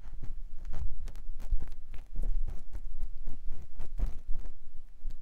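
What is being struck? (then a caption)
Silicone microphone ear scraped with a silicone ear pick. A clear silicone ear pick with a yellow handle scratches inside the canal of a white silicone ear mounted on a binaural microphone block. The result is a close, muffled rubbing and scraping, with dull low thumps and brief brighter scratchy streaks that run together with little pause.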